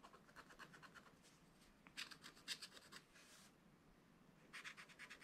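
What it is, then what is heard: Scratch-art paper scraped with a wooden stylus. A wooden stylus makes short scratching strokes across the coated surface of a flat scratch-art card page in a spiral book, near the zebra picture. The quiet, dry, bright scratches come in quick rhythmic bursts with brief pauses, with louder, sharper clusters midway and at the end and no ring after each stroke.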